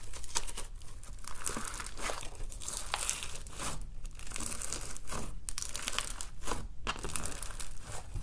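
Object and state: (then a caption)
Foam bead slime (floam) being squeezed. Fingers stretch, fold and squeeze a handful of peach slime packed with small foam beads (floam) over a white background, crunching the beads. A steady stream of dense, bright crackling and crinkling crunches rises and falls in bursts over a low background rumble.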